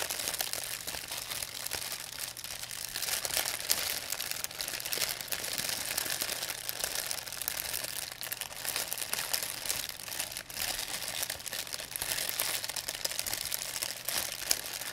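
An empty, thin white plastic pharmacy bag is squeezed and crinkled in both hands with long nails. It makes a steady, dense crackle of bright, crisp crinkles for about fifteen seconds, with almost no low end.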